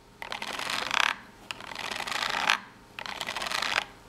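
Long nails scratch the cut edge and top corner of a small corrugated cardboard box in three separate strokes. Each stroke is a dry, bright, gritty rasp that builds and ends with a sharper scrape before a brief quiet.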